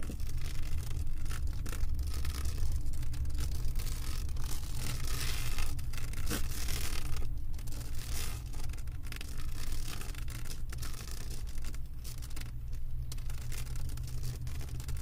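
Long white acrylic nails on both hands scratch and tap the textured surface of a flat, roughly poster-sized diamond painting covered in small plastic resin drills, showing "I Love you to the Moon and Back" with a blue cartoon character, lying on a wooden table. The result is a steady, continuous scratchy rustle over a constant low rumble, with no clearly separated hits.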